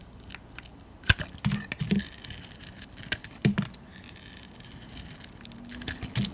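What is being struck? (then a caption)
Soap bar. A metal blade carves thick curls off a solid white painted soap bar held in the palm. The clip is filled with short, dry scraping and cutting scratches, each ending almost at once, with a few louder crisp slices over a soft low rumble.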